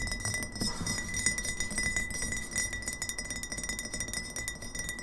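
Long fingernails of both hands tap fast on an upright, partly filled glass kombucha bottle. The result is a steady patter of bright, clinking ticks with a clear ringing tone near 2 kHz and high overtones. Each tick fades quickly.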